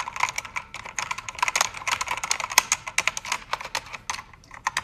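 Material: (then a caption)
Plastic. Fingertips and nails type on a full-size black mechanical keyboard with plastic keycaps, backlit in red, pink and blue. A rapid, uneven run of sharp, bright clicks and clacks follows, each dying away almost instantly with almost no low end.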